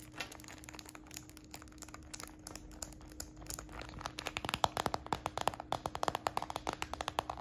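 A hollow, apparently empty, medium tortoiseshell-brown transparent PVC purse is held in the hand and scratched and tapped with fingertips and short nails. Quiet, crinkly scratching with scattered light ticks gives way in the second half to quick, sharp, bright plastic taps that grow denser and louder, over a faint steady low tone.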